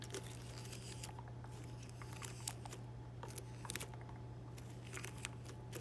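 Fingertips with pink-painted nails rub, brush and crinkle a dense cluster of small, thin, flexible green plastic leaves on a fake boxwood plant. Soft, bright crackling and rustling comes in scattered bursts over a steady low hum.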